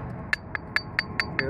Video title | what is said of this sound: Roof Core Sample OAKWOOD Apartments, Bryson building Dallas | we got metal on metal we got about 4 in of roofing to hit a metal deck